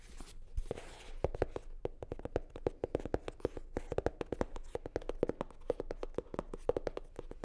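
Long nails scratch and tap on a hollow, navy blue hard-shell sunglasses case covered in faux leather. The sound is a quick run of short, dry clicks with a hollow mid-range knock, mixed with soft scratching.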